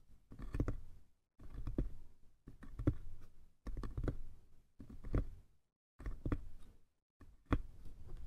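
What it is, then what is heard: Small wooden box tapped. Fingertips and nails tap the sides of a small, hollow wooden box with a brass clasp. Seven short bursts of quick, dry, muffled tapping are separated by brief silences. Each burst has a soft, low, hollow knock with no ring.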